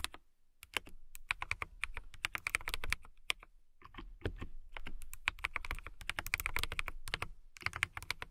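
Fingertips and long nails type on a transparent mechanical keyboard with clear plastic keycaps. Bursts of quick, sharp clicks ring briefly with a bright tone near 2 kHz over a soft low thud, broken by short pauses.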